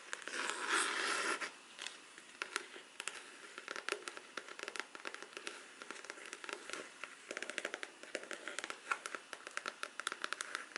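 Long black artificial nails tap quickly on the cover of a large, flat, rigid black folder covered in faux leather. The taps are sharp, dry, bright clicks in a fast, uneven stream with almost no low end, after a louder, denser scratchy burst at the start. Each click dies away almost instantly.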